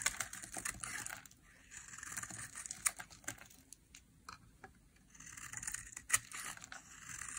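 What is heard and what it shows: A utility knife blade carves and cuts brittle flakes off one edge of a small, solid, rectangular bar of dry green soap held in the hand. Crisp, bright scraping and crackling comes in bursts of rapid small clicks, with sharper snaps as flakes break away. Quieter pauses fall between the strokes.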